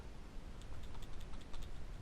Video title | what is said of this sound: Learning about this H22! Fixed PCV Valve and alternator | there's definitely something moving around in there